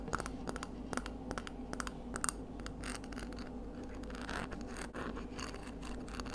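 Long nails scratch and tap along the radial ribs on the outside of a palm-sized, hollow, empty, pinkish ridged scallop shell held up in the air. Quiet, sharp clicking taps are scattered among dry, rasping scrapes. A steady low hum runs underneath throughout.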